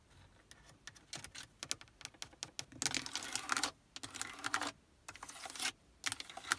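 Long nails rapidly tap the buttons and faceplate of a Prius's built-in hard plastic car stereo and climate control panel, which has buttons and a knob. Sharp, bright clicks start out spaced apart, then run together into dense, crisp rattling bursts with quiet gaps between them.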